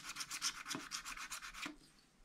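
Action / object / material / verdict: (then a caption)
scrape / wax-coated scratch-art paper pad scraped with a wooden stylus / waxed paper / none. A wooden stylus scratches and rubs away the remaining black coating at the top of a sheet on a flat, spiral-bound pad of wax-coated scratch-art paper, while fingertips steady the pad. The result is a series of quick, dry, bright scraping strokes with almost no low end, ending with a final stroke and a soft fade.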